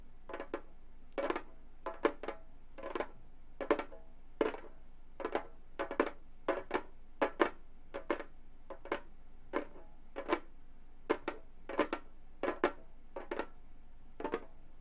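Gold metal claw nails tap and lightly scratch the synthetic head of a hollow Remo frame drum. Short, dry clusters of clicky taps with a mid-range hollow tone come at an uneven pace over a quiet background, each dying away almost at once.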